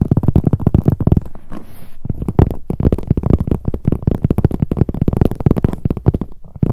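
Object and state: Leather handbag tapped with long nails.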